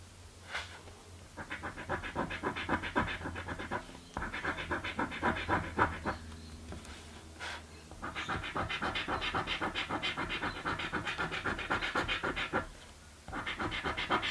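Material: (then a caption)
Coated paper. A coin scrapes the scratch-off panels of a light blue paper scratch lottery ticket resting on a dark table. Fast, rhythmic bursts of dry, bright scratching come in several stretches separated by short pauses, with a faint steady low hum underneath.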